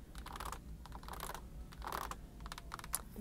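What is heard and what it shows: Long acrylic nails tap fast on the rims and sides of a stack of large, hollow, empty pink plastic buckets on a store shelf. The taps come in quick clusters of sharp, dry plastic clicks that die away almost instantly, over a low background hum.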